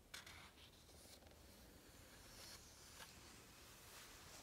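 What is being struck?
Coated paper page of a hardcover book.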